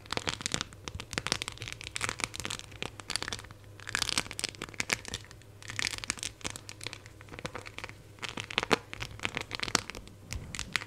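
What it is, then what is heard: Phone in clear plastic case with raised decorations. A phone in a clear plastic case with raised silver 3D decorations is held in both hands while long nails scratch along the case edges and tap the embellishments. A steady stream of quick, dry clicks and bright scratching rasps comes through close up. Hazier bursts of crinkly scraping swell and fade between the taps.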